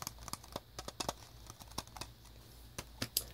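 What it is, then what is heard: Plastic game cartridge. Fingertips and nails tap the label side of a grey plastic Nintendo 64 Pokemon Stadium cartridge with a hollow shell, held in the hand. Around fifteen short, bright clicky taps come in an irregular run, each dying away almost at once, over a faint low hum.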